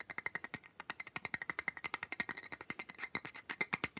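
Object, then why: Block of ice. Fingernails quickly tap and scratch across the ridged top of a flat rectangular block of solid ice lying on a towel. About 35 quick, dry clicks come in a fast, uneven patter, each bright and sharp with almost no ring or low end.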